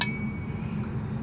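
A cheap nickel-plated flute headjoint is tapped once and gives a short metallic ring, with a bright high tone lingering for about half a second over a low background hum. Unlike a silver headjoint, the plated nickel one rings when tapped.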